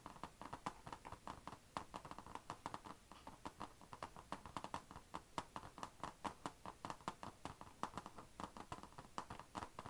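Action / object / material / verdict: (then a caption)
tap / laptop lid, plastic or metal shell / plastic / none. Long nails tap rapidly and scratch across the closed lid of a thin, hollow, dark grey HP laptop with a painted plastic/metal shell, working around the chrome HP logo. The result is a dense stream of quick, dry clicks with very short decay, centered around 1 kHz, with soft scratchy hiss between the taps.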